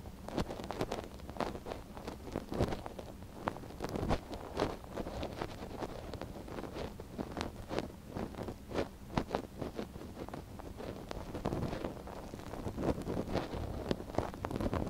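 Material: Silicone.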